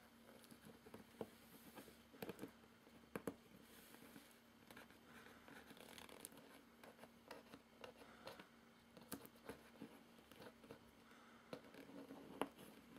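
Fingertips and nails tap and scratch the taped top of a hollow, medium-sized, closed corrugated cardboard shipping box with packing tape and a label, sitting on carpet. Quiet, sharp taps are scattered through soft, papery scratching and rustling, over a faint, steady low hum.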